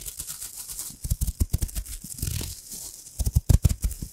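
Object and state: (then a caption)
Crinkled foil wrapper. A small, thin, crumpled gold embossed foil wrapper is held beside the microphone while long manicured nails and fingertips crinkle and scratch it. Close, dry crackles and scratches come in quick uneven bursts, with heavy low thumps from handling and a bright hiss on top. The sound swells into a denser run of sharp crinkles toward the end.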